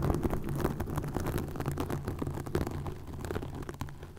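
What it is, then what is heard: Plastic mesh scratched by nails. Long nails scratch a green plastic mesh net stretched over a microphone. The result is a steady stream of close, crackly rasping strokes with a heavy low rumble and little bright content. The level stays fairly even and eases off slightly toward the end.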